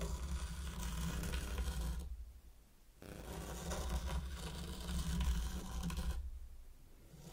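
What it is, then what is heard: Sand raked in a wooden tray. A small wooden-handled mini rake is drawn through fine purple sand in a heart-shaped wooden zen garden tray, scratching wave patterns. It makes a soft, grainy scraping rasp in long continuous strokes, pausing near silence around the two- and six-second marks. A steady low hum sits underneath throughout.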